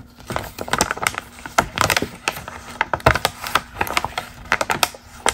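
A single thin, glossy orange magazine ad page is held in both hands with long green nails and crinkled and flexed in a crumpling motion. Dense, irregular crisp crackles and snaps come in quick bursts with bright, papery texture. Short sharp peaks stand out over a steady rustle.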